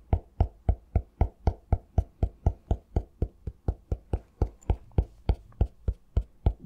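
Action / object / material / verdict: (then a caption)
tap / cork-covered notebook / cork / none. A medium-sized notebook with a cork cover is held upright in one hand while the fingertips and nails of the other hand tap its front cover. The result is 27 short, dull, low knocks at a steady pace of roughly four per second, each stopping almost instantly with no ring.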